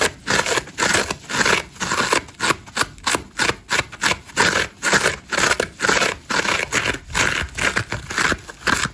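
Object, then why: Foam sponge. A hand-sized dry layered foam massage sponge, green foam with orange and grey layers and a solid porous body, is scratched fast and aggressively across its green surface with long nails and fingertips, sending crumbs flying off. The result is a stream of rapid, uneven bursts of dry, crunchy, bright scraping with brief quiet gaps between strokes and almost no low end.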